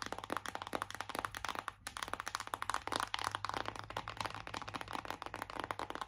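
Long acrylic nails tap fast on a flat, hollow printed cardboard eyeshadow palette held in both hands. Around thirty dry, short clicks with a papery midrange knock come in quick, uneven bursts, with a brief pause near the two-second mark. A faint low hum runs steadily underneath.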